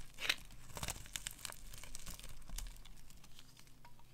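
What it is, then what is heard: Dry soap bar. A solid pale green rectangular bar of dry soap held in hand is scraped and carved with a metal utility knife blade, sending shavings curling off. The result is a series of short, dry, crisp scraping and crinkling strokes with bright, high edges, each fading almost instantly.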